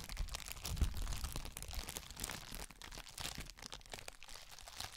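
A flat, roughly A4-sized sheet of clear plastic bubble wrap is held in both hands close to the microphone and crinkled and rubbed with the fingers. The result is a steady, dense crinkling and crackling with bright, crisp edges over low, muffled handling thumps that are strongest in the first two seconds.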